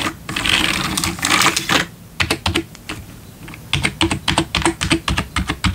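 Fingertips type on the keys of a black plastic RGB backlit computer keyboard, sometimes with one hand at a time. A dense, continuous stretch of sound opens the clip, then gives way to crisp, bright, clacky keystrokes in irregular bursts with short, dry decays.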